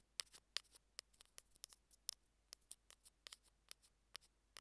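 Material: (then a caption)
Plastic. Metal tweezers rapidly tap and pinch along the edges of a small, hollow white plastic Apple earphone mic remote. About fifteen sharp, dry, bright clicks come at an uneven pace, each stopping instantly with no ring, over a very quiet background.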